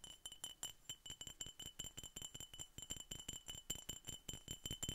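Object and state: Glass bottle.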